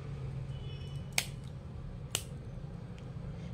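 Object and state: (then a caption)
Crisp, hollow fried chakli. A freshly fried bhajani chakli, a rice-lentil flour snack, is snapped by hand to show its texture, giving two sharp, bright crisp snaps about a second apart over a low steady hum. The chakli has turned out hollow, crisp and flaky, and not oily.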